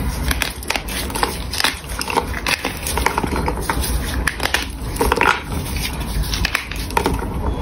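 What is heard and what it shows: A solid pink gym chalk block, held in both hands, is rubbed and crushed by the fingertips until it breaks apart into pieces. A steady, dense crunching and crackling is heard, broken by many sharp, bright snaps as the chalk crumbles.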